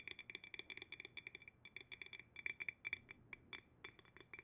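A clear, empty, medium-sized hollow glass jar is held upside down on its bamboo lid and tapped on the glass with fingernails. There is a quick, uneven run of 28 light, bright clicks and clinks, each ringing a high glassy tone around 2.3 kHz and dying almost instantly.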